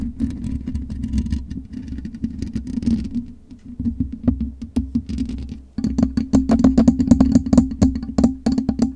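Long nails scratch rapidly across the black metal mesh grille of a USB microphone, making dense, irregular scrapes and clicks over a steady low hum. Near the six-second mark the scratching becomes sharper and louder, with crisp, bright transients that stop almost instantly.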